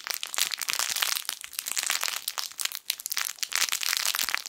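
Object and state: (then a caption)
Fabric crinkle toy with crinkle film inside. A yellow sun-shaped plush crinkle toy with crinkle film inside is squeezed and rubbed with the fingertips of both hands. It gives a steady stream of bright, dense crinkling and crackling with almost no low end. The texture swells and dips without stopping across the clip.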